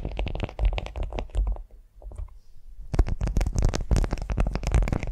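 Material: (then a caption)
Waxed cotton. Long nails scratch and tap a flat beeswax-coated cotton food wrap lying on a vinyl mat, making dense, crinkly scratching with quick taps and a deep, low-heavy body. The scratching thins to a quiet lull near the middle, then returns louder and busier, with bright crackles over the rumble to the end.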